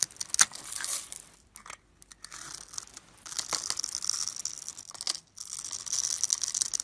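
A solid white rectangular bar of soap, scored in a grid and held in the fingers, is carved with a metal blade so small cubes crumble off. The cutting makes dry, bright scraping and crisp crackling bursts, broken by a few short silent pauses.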